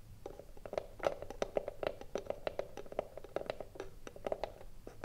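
Long blue nails tap quickly on the front face of a small, hollow, closed rectangular wooden cigarillo box held upright in both hands. The result is a fast, uneven run of short, hollow knocks centered around 570 Hz, each dying away almost at once, with only faint brightness above.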